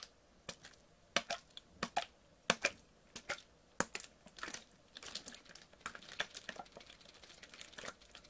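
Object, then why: Thin plastic water bottle partly filled with water. A clear PET water bottle, partly filled with water, is squeezed, crinkled and tilted by hand. Sharp, bright plastic crackles and pops come at irregular intervals, then merge into a denser run of crinkling and faint sloshing. The sound is quiet and close.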